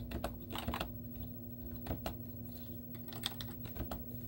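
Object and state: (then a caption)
Plastic laptop keyboard being typed on. Long teal-painted nails and fingertips type rapid taps on a white plastic laptop keyboard with hollow keys and cartoon stickers on them. The clicks are short, dry and clacky, with little ring, in quick irregular bursts over a low steady hum.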